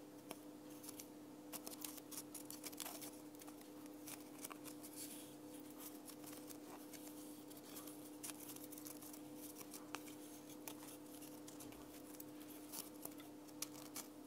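Long painted nails scratch and tap a thin, round, laser-cut plywood ornament held in the hand. Soft, dry scratching with sharp, bright clicks from the taps runs over a steady low hum, all at a quiet level.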